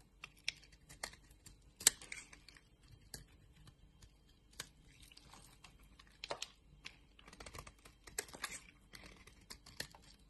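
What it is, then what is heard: Bar of soap being shaved. An orange solid bar of soap is shaved with a box-cutter blade, and flakes break off. About a dozen quiet, crisp scraping clicks and crackles stand out, bright and very short with almost no ring, over a faint rustle.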